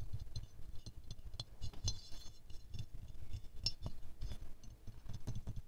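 A small silver-glazed ceramic rose figurine is tilted in the hands while fingernails tap its underside and petals. The result is a run of light, bright clinks and ticks over a soft low rumble, some taps quick and some slow.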